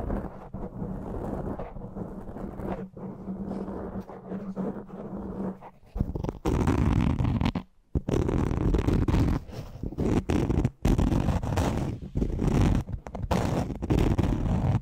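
Fingertips and nails of both hands scratch a soft black foam windscreen fitted over a large studio microphone. The result is a dense, irregular, low, rumbling scratch with a faint steady hum under the first few seconds. After about six seconds it grows louder and fuller, with brief near-silent breaks.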